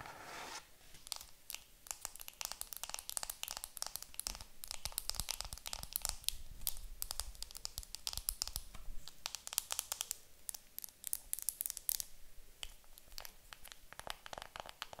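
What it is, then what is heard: Plastic-wrapped makeup compact. Long nails tap and scratch the crinkly clear plastic film still wrapped around a round makeup compact held in the hands. Dense, rapid, quiet taps and scratchy crinkles crackle brightly throughout, each sharp click dying away almost instantly.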